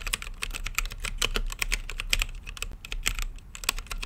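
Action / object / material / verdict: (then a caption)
tap / mechanical keyboard with plastic keycaps and acrylic case / plastic, acrylic / none. Fingertips type continuously on a plastic mechanical keyboard with plastic keycaps set in a translucent acrylic case. The result is a rapid, steady run of short, bright clacks that die away almost instantly, over a faint low hum.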